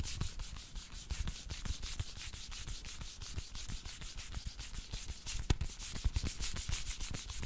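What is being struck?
Small closed cardboard card box.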